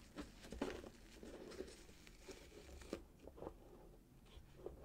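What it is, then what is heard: Hollow wrapped cardboard box. Fingertips and short nails scratch and tap a small, closed, hollow cardboard box wrapped in gold glitter-striped paper with a satin ribbon, first while it lies flat on a table and then while it is held in both hands. Quiet, steady paper scratching and crinkling runs throughout, broken by soft, hollow taps that fade quickly.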